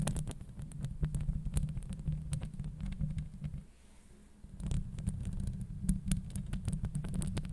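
Long acrylic nails on both hands scratch over the hollow steel mesh grille of a Blue Yeti microphone, producing a deep, rumbling, throbbing scrape scattered with sharp bright ticks. The scratching drops to a near-quiet hush for about a second in the middle, then resumes just as dense and heavy.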